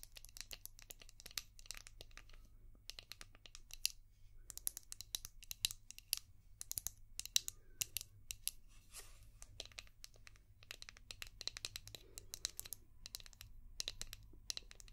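Long painted nails tap and scratch a palm-sized, translucent orange hard plastic brush shaped like a seashell with a ridged back. Dense bursts of sharp, bright clicks and scraping crackles come in quick clusters with short pauses, over a faint low hum.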